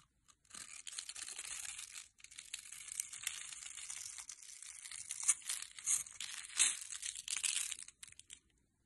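A metal blade scrapes and cuts into the surface of a solid rectangular teal soap bar held in the hand, breaking it into small crumbly cubes. The sound is a dry, bright, crackling scrape with almost no low end, running in long bursts with a brief pause near two seconds. Sharper crunchy snaps stand out in the second half before it stops just past eight seconds.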